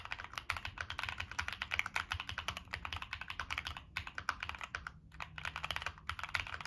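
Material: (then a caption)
Aluminium, plastic. Fingertips type continuously on a Monsgeek M1 mechanical keyboard with a black aluminum case, plastic keycaps and NK Cream switches. A rapid stream of short, bright clacks centered around 2.3 kHz comes with a soft low thud, and there are brief pauses near the four- and five-second marks.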